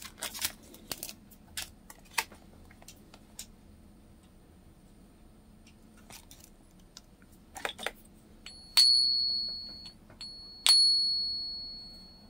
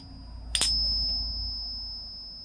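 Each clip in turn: First: genuine .999 silver coin ping. Second: 80% silver coin ping.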